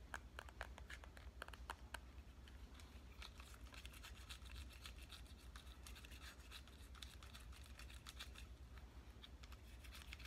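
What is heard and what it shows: A pink compact digital camera held in both hands has its body and screen tapped and scratched with fingernails. Quick, dry clicks and scratchy rubs with bright, sharp edges sit over a steady low hum. Each tap dies away almost at once.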